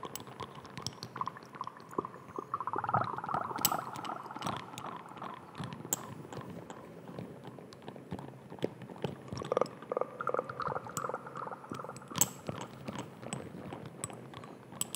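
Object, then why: Small glass dropper bottle with plastic cap. Fingertips and nails tap and scratch a small amber glass dropper bottle with a white dropper cap, held in one hand close to the microphone. Quick, irregular clicks and scrapes run throughout the clip, with bright ticks on top. A soft, glassy ringing tone swells in the middle and again later on.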